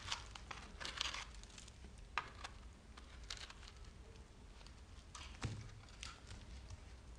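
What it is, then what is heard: Dry, crumbly soap bar. A red-handled metal knife shaves and cuts a handheld solid bar of dry, crumbly, speckled green soap, and the soap crumbles as it goes. Quiet, dry crackling and crunching bursts with a bright, papery crinkle are heard over a low steady hum, with a couple of sharper snaps standing out.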